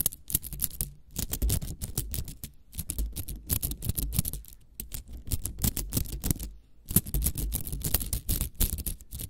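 Long acrylic nails scratch and tap a small hollow spiral cat toy made of nested green and yellow plastic coils, held in the hands close to the mic. The result is a dense run of quick, dry clicks and scratchy rasps with a bright crisp edge over a soft low thump, coming in bursts with brief pauses.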